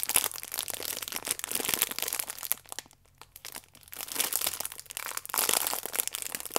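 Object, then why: Stack of sachets in clear plastic film. A plastic-wrapped stack of yeast sachets is held upright in both hands while the fingers squeeze and rub the clear plastic film over the sachets. The result is dense, bright crinkling and crackling with almost no low end, easing off to near silence around three seconds before building back up.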